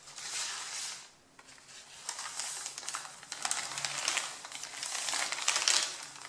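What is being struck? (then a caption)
Stack of printer paper. Fingertips rub and crush the top sheet of a stack of A4 printer paper, giving bright, dry crinkling and scratchy rustling. The sound comes in swells with short gaps, building to sharper crackles toward the end. Nearly all of it sits in the high range, with no low end.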